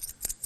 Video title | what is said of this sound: 26 августа 2025 г. | they make a slightly different sound than the quarters. They do, but that's because these are big old coins.